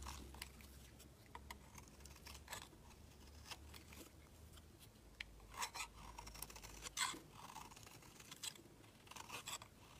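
A utility knife blade shaves the edge of a solid white bar of soap, peeling off flaky curls. Quiet, bright, crisp scraping strokes come in an uneven rhythm, with a few sharper, louder cuts near the middle and end. A faint low hum runs underneath.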